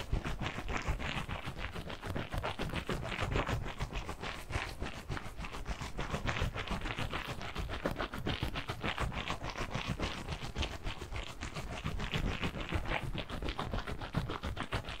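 A large, hand-sized squishy stress ball, made of clear, stretchy rubbery skin filled with blue water-gel beads and wrapped in a mesh net, is held in both hands and squeezed and rubbed with the fingertips. The result is a steady, dense stream of quick, scratchy, squelching rustles with a low, soft body, continuing evenly without pauses.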